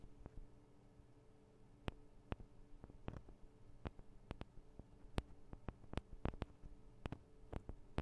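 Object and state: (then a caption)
Metal microphone capsules tapped with nails. Long nails tap on the sides of the small metal microphone capsules of a Tascam DR-40 recorder, making a quiet, irregular run of around twenty sharp, dry clicks that stop almost instantly. A faint low hum with steady tonal lines sits underneath throughout.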